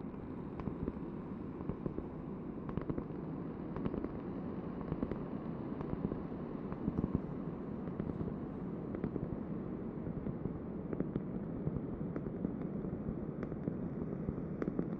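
A large, thin, solid round cork board held in both hands is tapped and scratched with long painted nails. A steady, soft, scratchy rustle sits mostly in the low and middle range, broken by many quick, dull taps that die away almost instantly. The sound stays quiet and even throughout, with little brightness.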